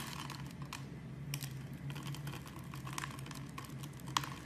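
A blade carves along the pre-scored grid of a hand-sized, amber-brown translucent glycerin-style bar soap held by fingers with long dark nails, crumbling small cubes off the surface. Soft, crisp clicks and light scrapes patter quietly over a steady low hum. A sharper snap stands out near the end.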